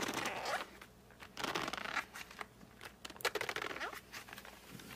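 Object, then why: Cardboard colored pencil box. Fingertips and short nails grip and rub across the printed back of a flat cardboard colored pencil box, which is then held upright. Bursts of dry, bright scratching and squeaky friction come and go over about five seconds. Brief rising squeaks sit between quieter pauses.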